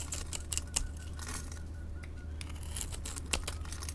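A metal blade scores and scrapes small cubes off a solid orange-yellow bar of soap held in the hand. Short, crisp, bright scraping and crunching clicks come in quick irregular bursts over a steady low hum, each dying away almost instantly.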